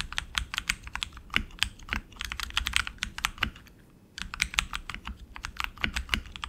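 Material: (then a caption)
Plastic. Both hands type continuously with their fingertips on a tenkeyless RGB mechanical keyboard with tactile switches and plastic keycaps on an aluminum frame. The result is a rapid run of sharp, bright clicks and clacks with very short ring, broken by a brief pause before the typing resumes.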